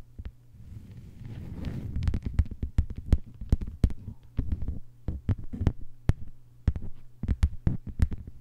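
Long white almond-shaped nails on both hands tap and scratch a thin, flat green plastic cutting mat lying on a table. Soft scratching builds in the first two seconds, then gives way to a run of sharp, dry clicks over a low, steady hum.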